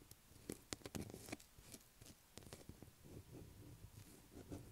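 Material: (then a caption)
Soap. Long black acrylic nail tips scratch a light blue solid bar of soap lying on a table. The result is a quiet series of short, crisp clicks and dry scratchy rasps, each with a bright edge that dies away almost instantly, over a faint low rumble.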